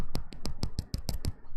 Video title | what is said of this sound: April 6, 2023 - Live Dip Powder Manicure Replay - Purple Spring Nails | if you can hear that tap sound that means you're good to go and ready to buff